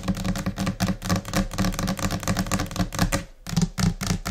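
Long nails tap with both hands on a flat, solid white laminate desk surface, making quick, scattered, irregular clicks, each with a short low, dull body. The taps come in uneven bursts, with a brief pause just after three seconds before they resume.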